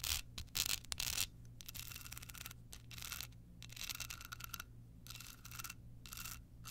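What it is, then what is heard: Rhinestone-covered card holder. Long pointed nails scratch a small hollow rectangular card holder covered in clear rhinestones with a red bow, held in the hand. Bright, gritty scratching comes in uneven bursts and strokes, louder at the start, over a steady low hum.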